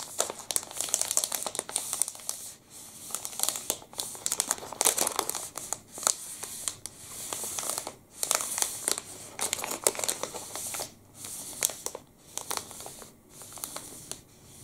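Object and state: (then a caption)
Plastic candy wrapper crinkling. A long black and red plastic wrapper of a full Pepe liquorice stick is rubbed and crinkled with the fingertips. Bright, dense crinkling comes in bursts separated by brief quiet gaps, with sharp crackly snaps and almost no low end.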